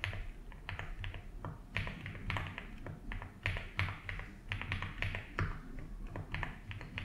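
Fingertips tap the keys of a 75% mechanical keyboard with ABS keycaps in a light blue plastic case, typing at a slow, uneven pace. Each keystroke gives a short, dry click with a bright top over a steady low hum that runs under the whole clip.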